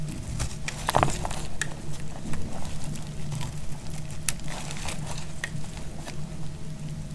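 A solid piece of dried purple bar soap is held in the hand and sliced with a snap-off metal blade, giving a run of short, dry, crunchy cuts and crackles. Thin shavings come off the bar over a low, steady background hum.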